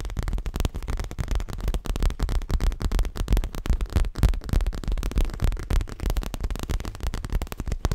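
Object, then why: Stuffed leather cushion. Fingertips and nails tap quickly on the front of a stuffed dark grey leather throw pillow held close, giving a dense, uneven stream of soft, dull thuds. The taps are low and muffled with almost no bright content, and each one dies away almost instantly.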